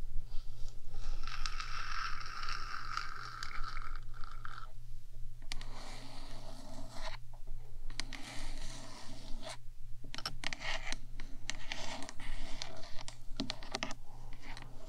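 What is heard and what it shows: Long nails on both hands scratch and tap the top of a 3Dio microphone's black, hollow metal body. Bursts of rasping scratches and quick taps come in stretches separated by brief pauses, over a steady low hum.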